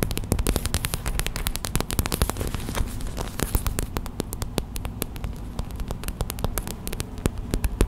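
Long white acrylic nails tap fast on a small clear plastic gel bead hot/cold pack, a pouch filled with white gel beads resting on a towel. A rapid, steady run of short, sharp clicks rises over a dense low rumble, each tap dying away almost instantly.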